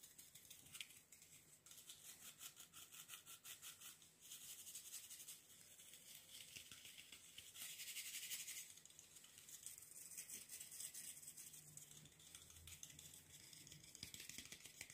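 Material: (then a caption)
Bristle, wood. A wooden-backed brush with dark bristles is tapped and scratched with fingernails on its bristles and wooden edge. The result is quiet, bright, crackly scratching with fast, uneven tapping, almost all in the high range, with bursts that swell louder around the middle.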